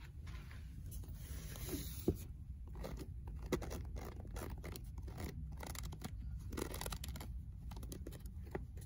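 Long nails scratch and scrape along the worn paper spine of an old paperback book. Soft, dry rasping strokes sit over a steady low rumble, with a few sharper clicks standing out near the two- and three-and-a-half-second marks.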